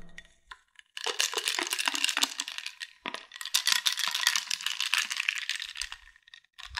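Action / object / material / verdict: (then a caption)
shake / glass jar with bamboo lid / glass / none. A medium glass jar with a bamboo lid, partly filled with a white milk or powder, is held in both hands, shaken and tapped with fingertips. After a few faint taps, two long bursts of dense, bright clicking and rattling run almost continuously, with a short pause between them. The sounds are sharp with almost no ring, and the clip ends in quiet taps.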